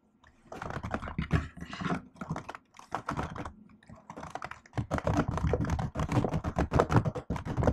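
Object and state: Laptop keyboard with plastic keys.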